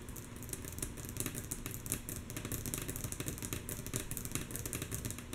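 Long natural nails of both hands tap rhythmically on a solid, flat, light wooden tabletop. The taps are mostly soft, each a short dry knock that fades fast, with low woody thuds and bright clicky nail ticks. They come in a quick, steady stream at an even, fairly quiet level.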